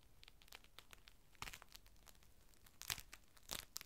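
A large, thin, clear plastic rain cover lies flat on a table as fingertips unfold it, crinkle it and smooth it out. Quiet, bright crackles and rustles run throughout, with sharper crinkling bursts near 1.5, 2.9 and 3.5 seconds. Each crackle stops almost instantly, with no ring.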